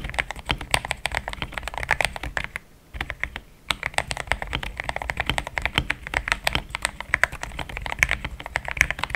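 Fingertips of both hands type fast on a compact pink-white mechanical keyboard with thick plastic XDA keycaps, a polycarbonate plate and linear switches, resting on a desk mat. A dense run of short, crisp clacks centered around 2 kHz with a bright top end breaks off in a brief pause near the three-second mark, then continues steadily to the end.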